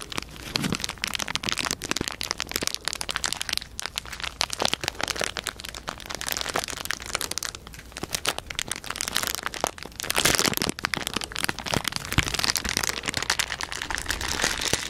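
A small, thin, empty clear plastic packaging wrapper, possibly with a printed paper insert, is held in both hands beside the microphone and crinkled and scrunched with the fingers. It makes a dense, continuous stream of bright, sharp crackles and crinkles, and it grows louder and busier after about ten seconds.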